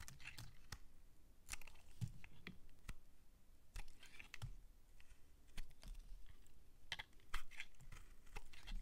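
A metal utility-knife blade scrapes and shaves thin flakes off the top and edges of a solid, palm-sized white bar of soap held in the hand. Quiet, crisp scraping and crunching strokes come in quick, uneven bursts, each with a bright, dry edge and almost no ring.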